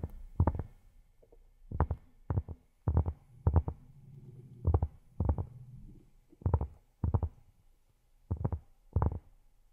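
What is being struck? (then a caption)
Cork surface. Fingertips fitted with silicone rubber pads tap on cork in quick, irregular clusters. Each burst is a soft, dull, low thud that dies away almost at once, with faint low rustling between the bursts.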